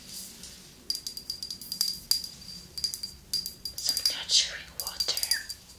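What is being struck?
Glass bottle with liquid and cap.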